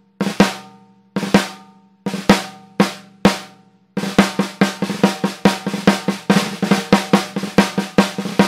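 A 14x6.5 in Mapex brass snare drum, with a hollow metal shell and a coated plastic head, is played with wooden drumsticks. A few spaced, sharp strokes, some in quick pairs, give a bright crack over a ring near 200 Hz that fades quickly. They lead into a fast, continuous run of tapping strokes.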